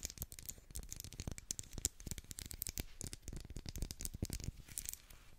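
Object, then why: Ridged wax pillar candle. Long black acrylic nails run over the ridged surface of a solid, medium pink twisted-ridge wax pillar candle. The result is a dense, fast stream of dry scratching and clicking, with soft low thumps under bright, crisp rasps. Each stroke is short and stops almost at once, with no ring.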